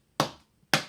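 A box is tapped as a household instrument, giving two short, sharp knocks with a brief decay and a faint low tone.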